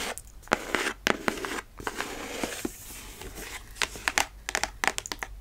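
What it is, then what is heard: Cardboard gift box. Long nails scratch and scrape along the lid and sides of a hollow, closed, red printed cardboard shoebox-style gift box with white stars as it is held and turned. Dry, crinkly scraping fills the clip, broken by sharp, bright clicks and taps that die away almost instantly.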